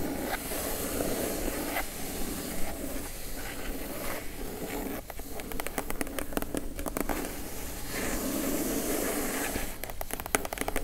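Long acrylic nails tap and scratch the lid of a plain brown, medium-size, hollow, closed kraft cardboard box lying flat on dark fabric. A steady, hissy scratching with a dull, hollow low body runs throughout, broken by bursts of quick, dry, clicky taps in the middle and near the end.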